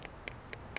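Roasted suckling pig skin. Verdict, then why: Crisp. The crispy skin of a charcoal-roasted suckling pig is tapped four times to show how crunchy it is. Each tap is a short, dry, hollow click with a bright ring and almost no decay. The skin sounds crisp and crunchy.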